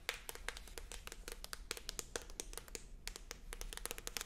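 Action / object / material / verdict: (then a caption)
tap / paperback book with thin card cover / paper / none. Very long acrylic nails rapidly tap and scratch the thin card front cover of a medium paperback book, a solid stack of paper held up in the air. The result is a quick, uneven stream of short, dry, bright clicks that die away almost instantly, with faint scratchy rustles between them over a low background rumble.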